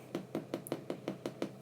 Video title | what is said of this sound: my white and wholemeal bread dough recipe | it sounds Hollow which means it's cooked all the way through